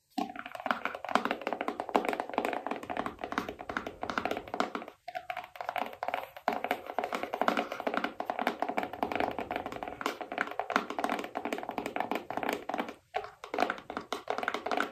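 A small rigid cardboard iPhone box, held in both hands, is tapped rapidly with long painted nails on its printed top and sides. The taps are dry, hollow and short, with mid-range body and almost no low end, in near-continuous flurries broken by brief pauses around 5 and 13 seconds.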